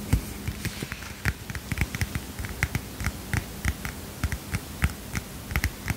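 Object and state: Small paper notepad tapped and scratched.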